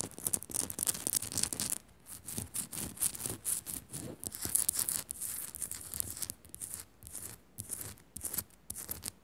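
Long nails scratch quickly and tap across the surface of a solid pink Himalayan rock-salt lamp. The result is a dense run of bright, gritty scratching bursts with short taps mixed in and brief quieter gaps between strokes.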